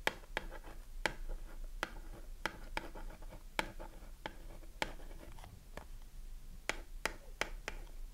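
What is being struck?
Cardboard soap box.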